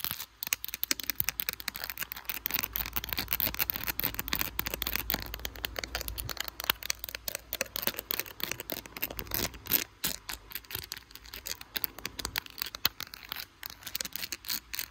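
Long blue acrylic nail tips rapidly tap and scratch the back of a handheld smartphone in a clear glitter plastic case with butterfly stickers, seen in a mirror. The result is a dense, fast stream of crisp, bright clicks and scratchy rasps that stop short with almost no ring.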